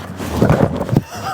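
A delivery parcel holding olive wood blanks for mallet handles is handled, giving two dull, low knocks with almost no ring, a sound that correctly signals wood inside.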